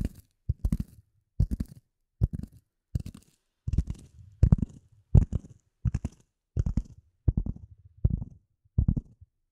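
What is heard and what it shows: A solid, dark speckled polyethylene foam block is held near and above the microphone and scratched and tapped with fingernails. Short bursts of dull, low, muffled thuds and scratchy crunches repeat roughly once a second with uneven timing. Each burst dies away quickly with almost no ring.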